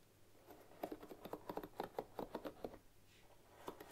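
A bamboo paddle hairbrush with wooden pins rests on a wooden table while long nails and fingertips brush across the pins. This produces a quick series of soft, dry wooden clicks and taps with a light, high edge. The clicks cluster in the middle of the clip and return briefly at the end, each one dying away almost instantly.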